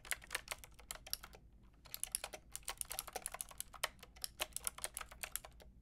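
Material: Plastic.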